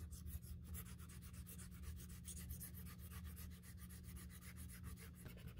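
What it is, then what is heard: Leather handbag edge being sanded. The edge of a black Saint Laurent leather handbag is sanded during a repair with a folded piece of brown sandpaper held between thumb and finger. Quick, repeated rubbing strokes give a soft, bright, scratchy hiss over a steady low rumble, staying quiet and even throughout.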